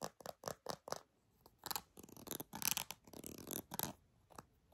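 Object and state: Soft plastic squeeze tube.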